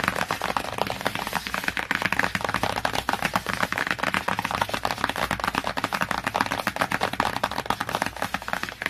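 Long fingernails and fingertips quickly tap and scratch the glossy printed cardboard cover of a large hardcover children's encyclopedia, "My Very First Encyclopedia," lying flat. The result is a dense, steady run of sharp, dry clicks with bright scratchy friction that stops almost instantly after each tap.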